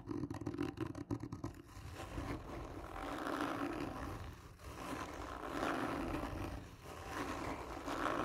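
Long nails scratch slowly and hard across a hollow black textured cardboard gift tube. A quick run of choppy scratches gives way to long, drawn-out rasping strokes that swell and fade, with a hollow, boomy resonance under the gritty scrape.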